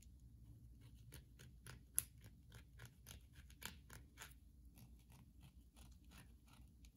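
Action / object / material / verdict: tap / bar of soap tapped and scratched with fingernails / soap / none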